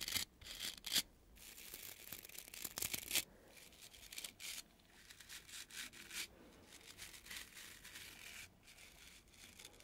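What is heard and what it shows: Fingertips and nails scratch and rub across the stiff natural bristles of a palm-sized oval dry body brush with a wooden base and cloth strap, held in the other hand. The result is crisp, bright, high-pitched bristly scratching in irregular bursts, loudest in the first three seconds and then settling into a quieter, steady rustle.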